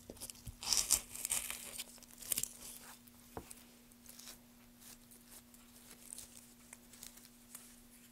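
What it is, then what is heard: Softwood board being carved and brushed. A gouge carves into a solid pale softwood board, giving bright, crisp tearing and scraping bursts in the first few seconds. Gloved hands then rub and brush the carved surface with softer, papery swishes and small scattered ticks. A faint steady low hum runs underneath throughout.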